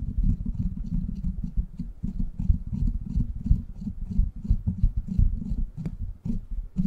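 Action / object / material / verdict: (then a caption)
scrape / steel mesh microphone grille / steel mesh / none. Fingertips and short nails of both hands scratch and tap the hollow, rounded steel mesh grille of a silver microphone. The result is a rapid, irregular stream of deep, muffled thumps and rustling scrapes, with faint bright ticks above them.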